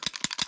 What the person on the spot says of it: It kind of makes like a rattling noise when you shake it.